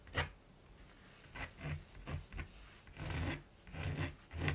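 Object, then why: Pencil drawing on primed canvas. A mechanical pencil rubs and scratches lines across a large, flat primed canvas while drawing a raven. A series of short, dry rasping strokes rise and fade with brief pauses between them. Each stroke has a soft low body and a bright, papery scratch on top.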